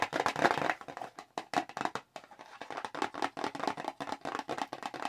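A small square red Clinique cardboard product box, held in the hands, is tapped quickly with long acrylic nails. The result is a rapid run of dry, hollow clicks centred in the midrange, with little low end and no ring after each tap. A denser, louder flurry opens the clip before it settles into a steady patter.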